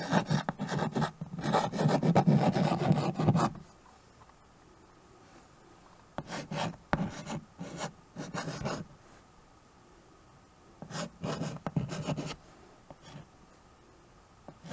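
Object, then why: Chalk on a wood-framed chalkboard. White chalk scratches and rubs across a small flat chalkboard in a wooden frame while names are written on it. A dense, low rasping scrawl runs for about three and a half seconds, then quieter pauses are broken by shorter bursts of scratchy strokes.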